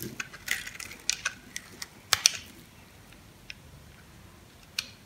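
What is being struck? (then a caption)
Bar soap cut with a metal blade. A dry, solid white bar of soap held in the hand is cut and scraped with a metal blade into crunchy cubes. Sharp, bright crackling scratches and crisp snaps come in bursts that thin out toward the end, over a quiet background.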